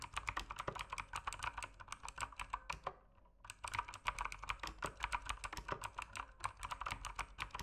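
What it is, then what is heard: Mechanical keyboard with plastic keycaps. Fingertips type steadily on an RGB mechanical keyboard with plastic keycaps, producing a fast run of sharp, bright clacks centered around 1 kHz. The typing breaks for a brief pause near the middle, then resumes at the same even pace.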